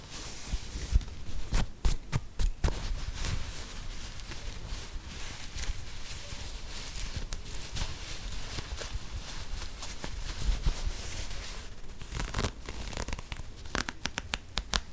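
An empty lime green and grey knit textile sneaker with a soft sole is held close to the mic and scratched and rubbed with long nails and fingertips. A steady, bassy fabric rustle carries scattered sharp scratchy clicks throughout, with a few louder, brighter scrapes standing out near the start and end.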